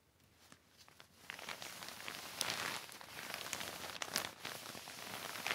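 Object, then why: Heavy plastic sheet. A wet, black heavy plastic sheet is wiped by hand with a yellow sponge or cloth. Bright crinkling and squeaky rustles start faint, then grow louder in dense bursts, with sharp crackles standing out over a steady wash of friction.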